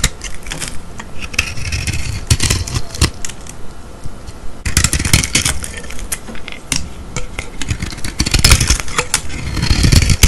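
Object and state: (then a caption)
Bar of soap with metallic coating scraped with a blade. A metal utility-knife blade scrapes and shaves thin curls of silver, foil-like coating off a solid rectangular white bar of soap held in the hand. The sound is a steady run of dry, crackly scraping strokes with bright, crisp flecks over a low, rumbling handling noise, growing denser and louder near the end.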